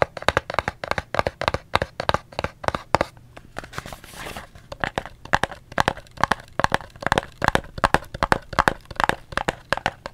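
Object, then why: Cardboard soap box. Fingers tap on a soap's cardboard box in a rapid, steady run of dry, hollow taps with almost no ring. Around the four-second mark the tapping briefly gives way to a soft, airy rustle, then resumes.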